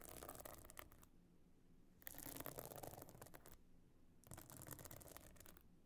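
Long nails scratch across the stone-chip encrusted top of a closed, pebble-encrusted metal-frame clutch bag lying flat. Three bursts of bright, dry, gritty rasping are separated by quiet pauses, with a faint low rumble underneath.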